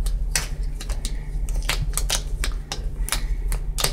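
Sharp, dry taps land at an uneven, typewriter-like pace on the flat printed side of a large orange cardboard shipping box for a Crock-Pot slow cooker, which has a shipping label on it. Each tap is a quick bright click that dies away almost instantly, over a steady low hum that runs underneath the whole time.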